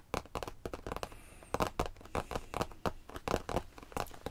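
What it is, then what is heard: Faux leather bench top. Fingers tap and lightly scratch the faux leather top of a cheap bench used for storing blankets. A quick, uneven run of short, dry, muffled taps with crinkly scratching between them, each dying away almost instantly.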